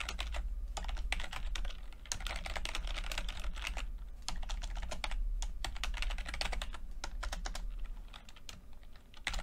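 Fingertips of both hands type continuously on a full-size plastic computer keyboard with red and blue backlit keys and low-profile keycaps. Dense, bright key taps clatter in quick succession over a steady low hum, with brief lulls around two seconds and near the end.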